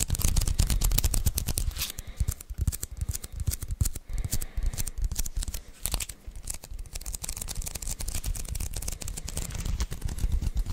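A handheld lint roller with a white adhesive paper roll on a grey plastic handle is tapped and peeled with fingertips on its sticky paper surface close to the mic. Dense, irregular sticky clicks and tacky peeling crackles carry bright, high-frequency detail over a heavy low thump from the close contact.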